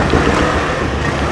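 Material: Nothing is struck.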